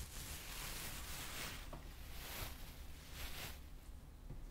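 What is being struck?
Nothing is struck.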